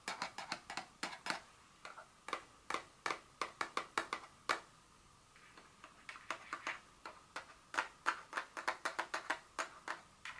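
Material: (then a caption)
Paperboard. Long nail tips tap the face and edges of a small, hollow, printed paperboard Dior fragrance box lying flat on a table. About 36 short, dry, hollow clicks with a bright edge come in quick, irregular bursts. A softer, sparser stretch falls around the middle, and each tap dies away almost instantly.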